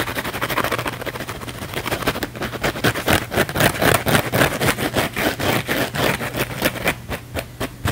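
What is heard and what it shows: A small blue cellulose kitchen sponge with a scouring pad is held in one hand while the fingernails of the other hand scratch fast across the scouring-pad surface. It makes a rough, bright rasping in quick, uneven bursts of about four strokes per second over a faint steady low hum. The scratching grows louder and sharper after the first couple of seconds, then eases off near the end.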